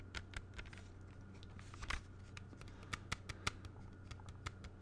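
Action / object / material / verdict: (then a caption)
tap / clear plastic CD jewel case / plastic / none. A closed clear plastic CD jewel case, held in both hands, is tapped with the fingertips, giving quick, irregular, bright plastic clicks that die away at once. A steady low hum sits underneath the quiet taps.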